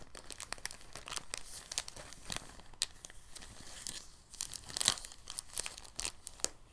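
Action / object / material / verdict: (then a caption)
scrape / thin plastic bag / plastic / none. A clear, thin, soft plastic bag is held open, then rolled on a table with the fingertips. It makes quiet, dense crinkling full of sharp, bright crackles, with a few louder snaps near the end.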